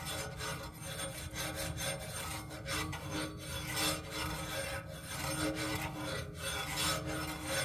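Fingernails scratch and rub along the matte black tripod base leg of a black music stand. The result is a steady, dry scratchy rasp lasting about eight seconds, with no distinct separate hits.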